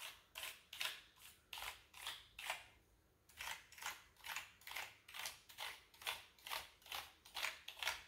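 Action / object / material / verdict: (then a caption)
scrape / plastic computer keyboard / plastic / none. A wooden-handled bristle brush sweeps and pokes across the keys of a full-size, hollow-bodied black plastic computer keyboard. It makes a steady run of bright, scratchy bristle strokes, each swelling and fading quickly, with a brief pause near the three-second mark.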